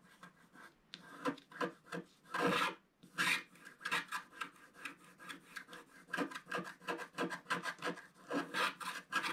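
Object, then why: Scratch-art paper sheet scraped by a wooden stick. A wooden stick scrapes a thin sheet of black-coated scratch-art paper in repeated strokes. The dry, rasping scratches come in quick, uneven bursts, broadband and bright with little low end. A few longer, louder strokes stand out among the shorter ones.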